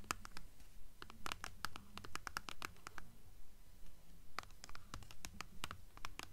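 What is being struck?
Hardcover book spine with paper dust jacket.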